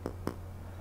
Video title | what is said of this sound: SX Mini M Class Review | there's no Hollow sound to it it feels very positive there's no rattling in the device at all